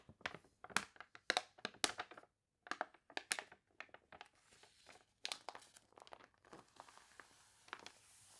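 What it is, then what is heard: Glossy paper catalog pages crinkled. Long nails press, rub and crinkle the wavy, glossy pages of a paper toy catalog, making a quick, uneven series of sharp, bright crinkles and crunches. The spread is then flattened, and the crackles soften into a quieter, hissy rustle.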